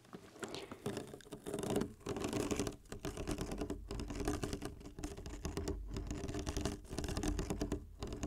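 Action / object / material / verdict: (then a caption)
tap / ridged plastic water bottle, mostly full of water / plastic / none. A clear ribbed plastic water bottle, mostly full of water with the cap on, is held upright in both hands while fingertips tap and squeeze its ridged sides. A dense, continuous patter of soft, quick taps and crinkly scratches comes in short bursts with brief pauses, weighted toward the low end.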